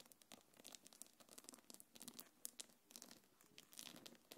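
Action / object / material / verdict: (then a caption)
scrape / quilted faux-leather bag with metal chain / faux leather / none. Long nails scratch and rub across a small black quilted faux-leather belt bag and its gold metal chains. The result is a quiet, dense stream of bright, crinkly scratches and rustles with quick tapping clicks and no ringing tail.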